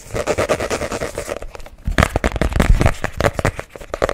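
Fingernails tap and scratch the printed cardboard cover of a small spiral-bound notebook held close to the mic. A quick run of dense, rhythmic scratching fades into a brief lull, then louder, sharper taps and scrapes follow with a deep, close-up thump under each one.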